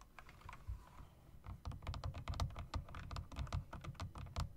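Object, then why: Mechanical keyboard with round plastic keycaps. Fingertips type on a typewriter-style mechanical keyboard with round plastic keycaps and metal rims, tapping the keys and the spacebar area. About twenty quick, irregular keystrokes each give a dull, low thock with a brief bright click on top. Every keystroke dies away almost at once.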